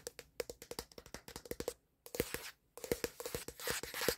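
Fingertips and short nails of one hand quickly tap and scratch the plastic back panel near the camera bump of a black Samsung smartphone, which is held in the other hand and is also doing the recording. Fast, dry, hollow clicks with a ringing note around 480 Hz come in dense bursts, broken by two brief silences. Bright, rustling scratches build up toward the end.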